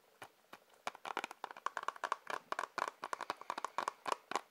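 A plastic Blu-ray case is tapped with the fingers in a quick, uneven series of light taps that start sparse and then come faster. Each tap is a short, dry click with a hollow plastic tone around 1 kHz and almost no ring, at a soft, close level.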